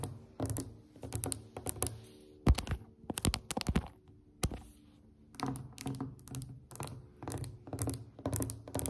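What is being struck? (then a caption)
Varnished wooden tabletop tapped with fingernails. Long acrylic nails on both hands tap a solid, glossy varnished wooden tabletop in quick, dry clusters. Each tap has a low, knocking body and a faint bright click that dies away almost instantly. A few sharper, louder knocks stand out near the middle, then a brief lull gives way to steady bursts of tapping again.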